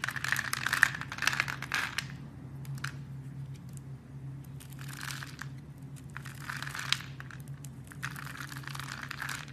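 A solid blue soap bar, scored into a fine grid and held in hands with red nails, has tiny cubes sliced off it with a blade. Crisp, crunchy crumbling bursts come in irregular clusters over a steady low hum. The bursts are loudest in the first two seconds and then quieter toward the end.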